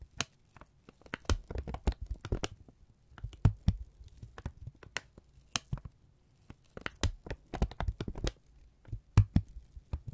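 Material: Paper.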